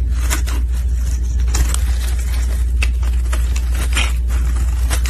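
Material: Soap.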